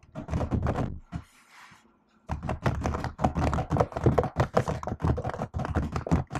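Long acrylic nails and fingertips type on a laptop keyboard with plastic keys, making quick, irregular runs of dull thunking taps with bright clicky edges. The typing stops for about a second, leaving only a faint hiss, then resumes in a steady, uneven patter.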